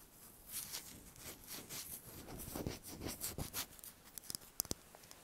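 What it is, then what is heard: Hen's egg tapped and scratched. A small whole brown hen's egg, held in the hands close up, is tapped and scratched with long fingernails. Soft, bright scratching and brushing fills most of the clip, then a few sharp, quick clicking taps ring out near the end, all at a quiet level.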